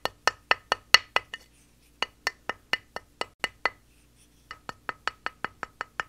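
A small wooden mallet knocks repeatedly on a square, solid plaster gemstone dig block with a cobblestone texture, lying on a towel while a hand holds it steady. Three bursts of quick, dry, hollow clacks with a bright click and almost no ring are separated by short pauses.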